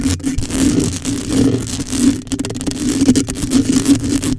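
Long acrylic nails scratch quickly across a black metal mesh microphone grille. The result is a dense, continuous scraping and rasping texture with a steady low tonal hum near 250 Hz and bright, hissy highs. Short rapid strokes blur into one another without clear gaps.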